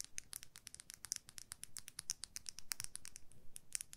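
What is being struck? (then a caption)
Makeup brush, plastic handle and metal ferrule. A makeup brush with a white plastic handle and a silver metal ferrule, held horizontally, is scratched and tapped along its handle and ferrule with long nails. It makes a rapid, steady run of quiet, crisp clicks and scratches with a bright, high tone. Each hit stops almost at once, with no ring.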